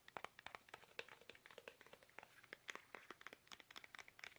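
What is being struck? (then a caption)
Soft plastic toothpaste tube. Fingertips tap fast and hard on a small, soft, hollow, squeezable plastic toothpaste tube held upright in both hands. The result is a quiet, rapid string of dry, crisp clicks with a faint crinkly texture. The taps are bright, with almost no low end, and each dies away almost instantly.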